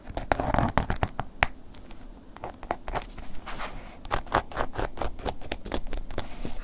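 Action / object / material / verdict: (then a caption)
scrape / embossed leather long wallet / leather / none. A wooden ear pick scratches a black woven-embossed leather long wallet, first lying flat and then lifted upright. A quick run of dry, crackly scratching strokes sounds with short sharp bursts against a low rumble, each scrape ending almost instantly.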